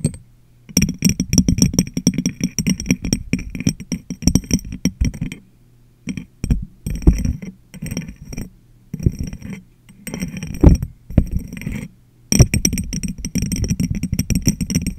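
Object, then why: Glass jar. Long nails tap and scratch the sides of a medium, clear, hollow and empty glass jar held over a microphone. Quick clusters of clicky taps and scrapes come in bursts separated by brief pauses, with a deep hollow thump under bright glassy overtones. Each tap dies away almost at once.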